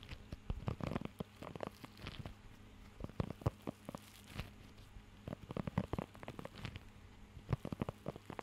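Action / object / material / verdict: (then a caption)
scrape / rubber grooming glove with raised nubs / rubber / none. Fingertips scratch and tap across the raised nubs of a blue rubber pet hair grooming glove held close to the mic. Soft, dull, low-heavy clicks and rubbery scratches come in quick clusters with short pauses between. A faint steady low hum sits underneath.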